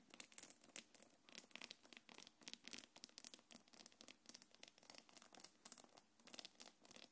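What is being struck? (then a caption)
Quilted faux-leather bag with metal chain. Long nails scratch a small black quilted faux-leather belt bag and drag over its gold metal chains as the bag is held in front. The result is a dense stream of quick, bright scratches and crinkling rasps with light metallic clicks, nearly all high in pitch with almost no low end.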